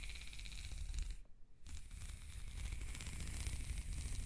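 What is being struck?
Ribbed plastic corrugated hose.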